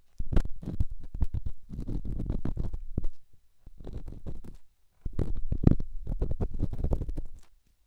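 An elongated, solid, rough rock held in the fingertips is scratched and rubbed inside a silicone microphone ear. The result is dense, deep, muffled scraping and thumping in bursts, with short pauses between them.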